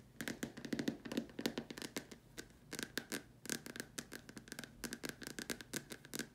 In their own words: This video includes me tapping on a plastic lamp shade.